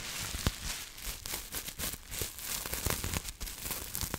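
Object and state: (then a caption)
Plastic bubble wrap. Long nails scratch and crinkle a clear plastic bubble wrap sheet held up close to the mic, giving a steady bright crackling rustle. Sharp clicks pop out now and then over a low rumble, each dying away almost at once.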